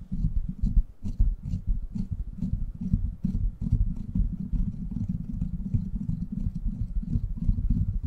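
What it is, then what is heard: Metal mesh microphone grille. Fingertips and short nails of both hands scratch and tap the hollow, rounded steel mesh head of a silver microphone. The result is a dense, continuous run of muffled, low, thumping scratches and taps, with faint bright ticks over a deep rumbling base.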